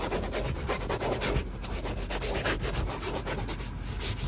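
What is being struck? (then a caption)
Woven fabric car seat upholstery. Fingertips and nails rub and scratch across a padded, soft, light grey woven fabric car seat with a stitched diamond pattern. The result is a steady, dense rustling scrape with a heavy low-end rumble and quick strokes blending into one another. A faint high whine runs through most of the clip.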